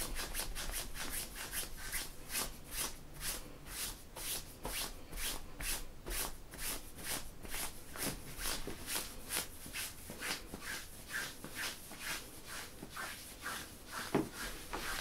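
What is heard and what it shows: Fingertips and nails scratch and rub the surface of printed black-and-grey synthetic stretch workout leggings worn by a standing person. A quiet, steady run of brisk scratching strokes, roughly two per second, produces bright, hissy swishes with a soft rubbing undertone.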